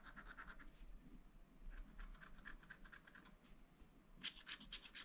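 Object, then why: Coated scratch-art paper scraped with a wooden stylus. A wooden stylus scratches lines into a black coated sheet of a scratch-art paper pad, near a drawing of a car. Quiet, bright, rasping strokes come in short bursts over a low rumble, with a sharper burst of scratching toward the end.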